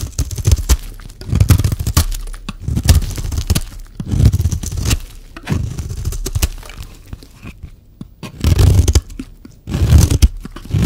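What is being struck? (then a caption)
Bar of soap scraped by a metal blade. A solid oval red soap bar is scraped with a metal knife blade, its flakes falling onto a pile of shavings. Bursts of dry scraping and crunching repeat throughout, dominated by low, muffled thuds with faint bright crackles.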